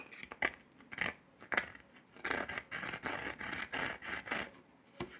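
Fingertips and nails rub and scratch the surface of a round, flat, golden dalgona honeycomb sugar candy disc with a pressed circle shape, solid and brittle, resting on a table. Sharp, bright scratchy clicks come first, followed by longer dry scraping rubs. The sound is crisp and high-pitched with almost no low end.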